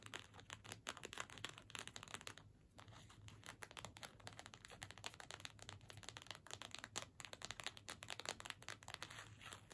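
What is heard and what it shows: Long fingernails tap and scratch quickly across a small, flat cardstock "Season's Greetings" gift tag with a string attached. The result is a dense, crisp stream of dry, papery ticks and scratchy rasps, bright and quiet, with a brief lull around the middle. A faint low hum sits steadily underneath.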